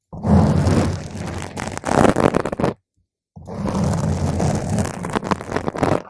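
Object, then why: Foam microphone windscreen. Slow scratching with one or two long nail tips on top of a round purple foam microphone windscreen gives a close, rumbling, scraping roar heavy in low end. It comes in two dense stretches of about two and a half seconds each, split by a short silence.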